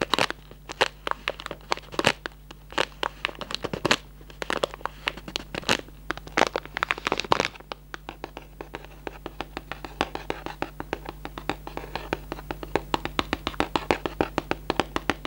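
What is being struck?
Cardboard box with plastic window.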